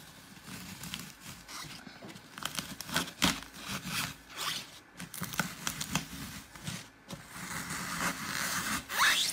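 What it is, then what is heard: Glitter-covered floral foam block being crushed. Fingertips and nails keep pressing into a glitter-topped block of dry green floral foam, crushing holes into its porous surface. The result is a run of dry, bright crunches and crackles with scratchy, tearing textures, rising to louder bursts near the end.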